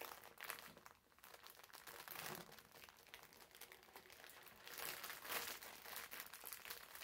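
A green foam bath sponge wrapped in clear plastic film is pressed and rubbed flat on a table with fingertips, then picked up and squeezed. The wrapper gives a quiet, steady stream of bright, dense crinkling and crackling, with slightly louder bursts as the film is squeezed.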